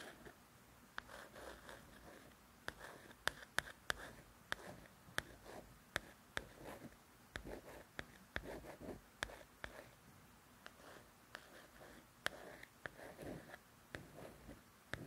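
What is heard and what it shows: A fingernail rasps and ticks across a glossy paperback cover in short, uneven strokes. Many sharp little clicks stand out among the scratchy texture, and none of them ring, since thin coated paper over card has no resonance. The room is quiet and close.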